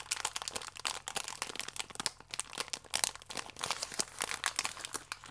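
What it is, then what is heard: Full plastic-wrapped biscuit pack. A full, small plastic-film biscuit pack is squeezed and crinkled with the fingers. The result is a dense run of sharp, bright crackles and crunches that stay mostly in the high range with almost no low end.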